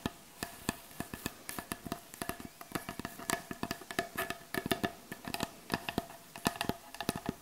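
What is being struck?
Wooden butcher block board.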